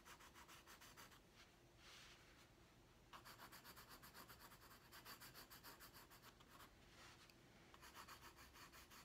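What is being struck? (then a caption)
Wooden colored pencil on a paper drawing pad. A pink wooden colored pencil is rubbed across a large, flat white paper drawing pad on a wooden desk in short, repeated coloring strokes. The result is a soft, steady, bright scratching hiss that pulses with each quick stroke, with a quieter, smoother stretch near the start before the rhythmic strokes pick up again.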